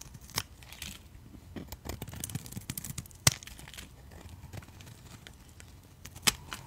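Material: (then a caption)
Soap. A utility knife blade shaves thin curls off a solid white rectangular soap bar held in a hand with red nails. Soft scraping and crisp, bright crackling build to a few sharp clicks, the loudest near the middle and the end.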